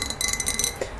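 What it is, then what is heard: Glass lava lamp globe. Tapping on the glass globe of a pink lava lamp gives quick, bright clinks with a thin, high ring that fades almost at once. Several taps come in fast succession over about a second.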